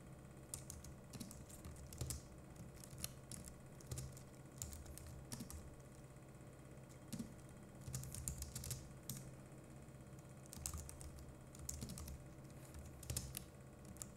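Both hands type continuously with fingertips on a compact Logitech MX Keys Mini wireless keyboard, a solid board with plastic keycaps on a metal-topped body. Quick bursts of soft, bright key clicks and taps come in runs with brief pauses, over a steady low hum.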